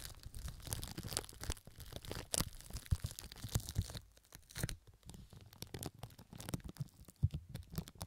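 Long nails scratch and crinkle pink plastic cling film stretched over the right ear of a microphone, producing a dense run of dry crackling, crunching and tearing-like rustles. The sound is mostly close and low-heavy, with bright crisp crackles on top and a brief quieter patch near the middle.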